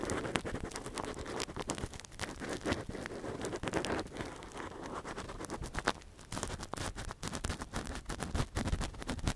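A long, thin metal earpick held in latex-gloved fingers gently scratches inside the hollow canal of a silicone ear model. Dense, crackly scratching and soft scraping taps run steadily throughout, close and low in level.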